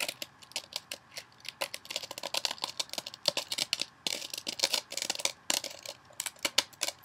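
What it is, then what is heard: Kitchen sponge with scouring layer scratched by nails. Long nails scratch the surface of a hand-sized rectangular kitchen sponge, a blue scouring pad on a soft foam body, held above a bowl. Dozens of quick, crisp, high scratching strokes come in an uneven stream, some merging into brief dense rasps. Each stroke stops dead with no ring, and there is almost no low end.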